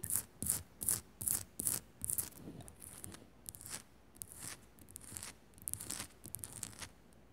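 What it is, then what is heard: Himalayan salt lamp, scratched and tapped. Long nails scratch and tap a small, solid pink Himalayan rock-salt crystal lamp sitting on a metal base. Six sharp, bright scratching bursts come first, evenly spaced. They give way to softer, continuous raspy scratching that swells and fades in uneven strokes, with no speech.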